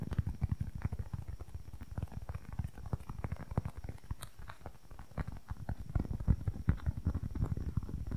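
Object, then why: Small polyurethane foam squishy block. A small, solid, soft polyurethane foam squishy toy block is tapped and scratched with long nails close to the microphone. Rapid, dense, muffled thumps with very short decay sit mostly in the low range, with a faint scratchy texture between them. The result is a steady stream of soft, dull patters.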